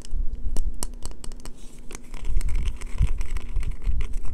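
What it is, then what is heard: Bar of soap being scratched. Long fingernails rapidly tap and scratch a solid green bar of soap held in the hands. It makes quick, dry clicks and crisp scratchy strokes over a low, muffled rumble, with a faint steady hum underneath.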